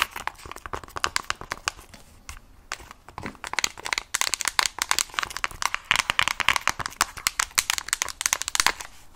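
Long acrylic nails rapidly tap and scratch a mint plastic protective case with stickers on a hand-held Nintendo Switch Lite, a hollow device. The result is a dense stream of sharp, dry, bright clicks and crinkly scrapes centered around 1 kHz, with almost no low end and no ring after each hit.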